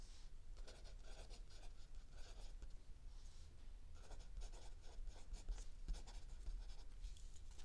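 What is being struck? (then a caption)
Paper notebook page under a pencil. A mechanical pencil writes continuously on a lined page of a spiral-bound notebook lying flat on a wooden table, while an open paperback book rests still under the other hand. Soft, dry scratching strokes come in short bursts with brief pauses, with a bright hiss on each stroke over a steady low background rumble.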